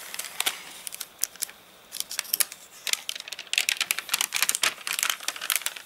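Fingertips scratch and rub over the wavy, dried-out glossy pages of an open paper catalogue that has been dried after getting rained on. Bright, dry crinkling and sharp crackles burst in quick irregular clusters with almost no low end, pausing briefly before growing denser toward the end.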